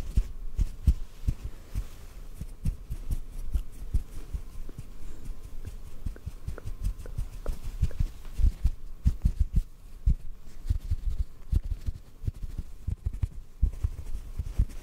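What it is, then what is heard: Cotton ball. A small white cotton ball held close to the microphone is gently tapped with fingertips. The result is a rapid, uneven stream of soft, muffled low thumps with almost no brightness and very short decay.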